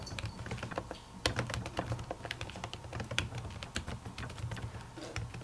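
Long natural fingernails type on a silver laptop keyboard with plastic keys under a white silicone cover. The result is a steady run of soft, muffled clicks with a low, dull thump beneath them and bright, short nail ticks on top. A few taps stand out louder than the rest.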